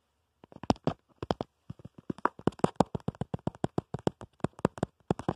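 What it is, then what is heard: Plastic phone case. Fingertips and short nails tap and scratch rapidly on the back of a smartphone's black plastic/rubber protective case, around the camera bump, while the phone is held up. About 29 short, dry, clicky taps come in quick uneven bursts with no ring after each one.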